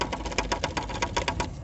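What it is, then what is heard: Loose shock absorber dust boot. A loose rubber shock absorber dust boot on a Fiesta/EcoSport suspension is moved by hand, giving about twelve quick, dry tapping clicks with a tone around 1 kHz and a bright edge. The boot has come loose and should be seated up in the mount and pulled down to lock in place, so the rattle is a fault.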